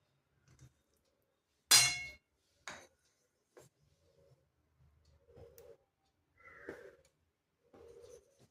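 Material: Jaggery.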